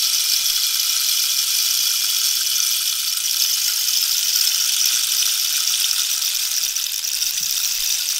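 A hollow cactus-wood rainstick is held diagonally while long nails scratch and tap its spiny surface. The result is a steady, bright, hissing scrape with almost no low end, holding an even level throughout with faint rattling ticks.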